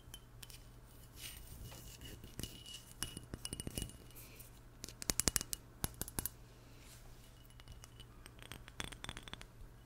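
A small glass perfume bottle with a black cap, held in both hands, is tapped with long nails. It gives bright, sharp clinks that stop almost instantly, in irregular bursts with a loud cluster around the middle. A steady low hum runs underneath.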